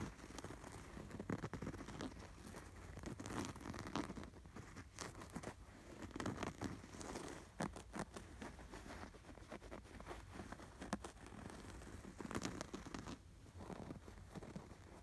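Fingernails scratch over the red appliqué sweater fabric and stitching on a soft, stuffed cream canvas throw pillow. The result is a quiet, dry, papery scratching and crinkling, with repeated short rasping strokes and brief bright clicks over a dull low rumble.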